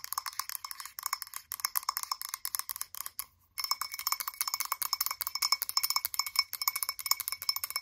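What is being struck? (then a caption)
Frosted glass candle jar. Long acrylic nails tap rapidly on the glass sides and rim of a blue frosted glass candle jar with its lid off. The taps are bright, clicky ticks with a short, high glassy ring, and they stop briefly for a moment near the middle before resuming just as fast.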